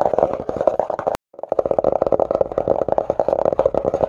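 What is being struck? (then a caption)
Cloth-covered cardboard hardcover book. Fingertips and short nails rapidly tap and scratch the red cloth or cardboard cover of a closed hardcover book lying flat. Quick, dry midrange taps and scurrying scratches run continuously, with a brief silent gap after about a second.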